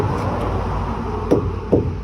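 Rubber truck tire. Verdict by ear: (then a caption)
Deep tread. A truck tire with plenty of tread left is knocked twice, giving two short, dull knocks over a steady low rumble. The knocks barely ring because the thick tread rubber keeps the blow from reaching inside, unlike a worn tire, which rings louder.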